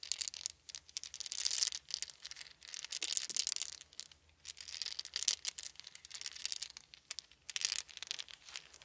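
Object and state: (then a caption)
Wooden beads. Small round solid wooden beads are rolled between cupped hands, then dropped and trickled from both hands onto a soft blanket. Dense, bright clicking and rattling rise and fade in repeated swells, with no low-end body and almost no ring after each tiny tick.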